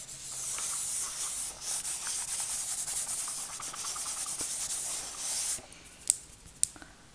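A small hollow printed cardboard wax strip box has its surface rubbed and scratched with long nails. A steady, hissy scraping fills the first five and a half seconds, dominated by high frequencies. It then stops, leaving a few sharp, faint clicks.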